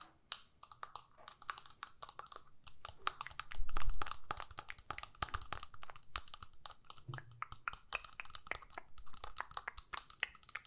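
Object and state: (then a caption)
Plastic eyeshadow palette. Long nails tap and scratch quickly on a small plastic eyeshadow palette with a clear lid and four to six pans. The result is a dense run of sharp, bright clicks with short scraping strokes between them, over a soft low rumble that swells briefly near the four-second mark.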